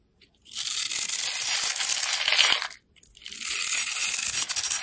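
A craft knife blade scrapes and carves a small, solid, pale green oval soap bar held in the hand, cutting it into fine cubes and shavings. Two long, dry, bright scraping passes are heard with a short gap between them, each a dense hiss with no low end.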